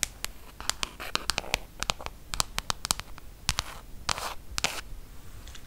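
Long acrylic nails tap and scratch the glass touchscreen of a large, flat iPad tablet lying on a table. The result is a rapid series of sharp, bright clicks, mixed with a few longer, hissy scratching swipes across the screen.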